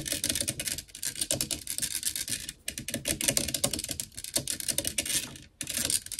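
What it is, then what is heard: Metal microphone grille. Long nails rapidly scratch and tap the black metal mesh grille of a blue desktop microphone. The result is a dense, bright, crackly stream of scratches and quick clicks with very little low end, broken by two brief pauses before the scratching resumes.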